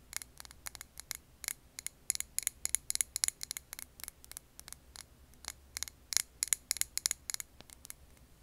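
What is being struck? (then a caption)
Glass jar filled with candle wax. Long nails tap and scratch a clear glass jar filled with green wax candle. The result is a quick, uneven run of sharp, bright, dry clicks with almost no ring, over a faint low hum.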